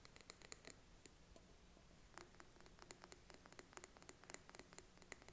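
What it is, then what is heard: Glass candle jar tapped with fingernails. A small glass jar candle filled with wax, with a gold metal lid, is held in hand and tapped with short fingernails on the glass and the lid. The result is a quiet, rapid, irregular series of dry, bright clicks and ticks that stop instantly, with no ring, over a soft background hiss.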